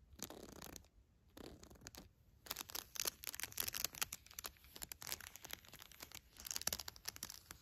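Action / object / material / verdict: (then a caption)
scrape / cloth crinkle book page / fabric / none. A fingertip and long nail scratch and tap the fabric page of a soft pink cloth baby book with a unicorn print and crinkly inner layers. Short bursts of bright, papery crinkling give way to a dense run of quick scratches and dry taps with crunchy rustles, mostly high-pitched with little low end.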